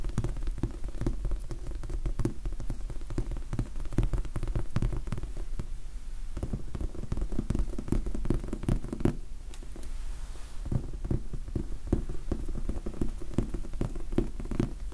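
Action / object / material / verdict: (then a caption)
tap / foam sponge die / foam / none. Fingertips tap rapidly on a large, soft, solid red foam sponge die, making a dense, muffled pattering that sounds much like rain. The taps are dull and low with almost no ring, and they ease off briefly around six and nine seconds before picking back up.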